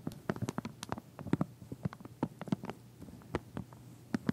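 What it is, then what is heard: Plastic comb in plastic sleeve. Fingernails scratch and tap the teeth of a pink wide-tooth plastic comb through its clear plastic sleeve while it stands on edge. A quick, uneven run of short, dull taps and soft crinkly scratches is heard, mostly low and muffled, with each tap dying away almost instantly.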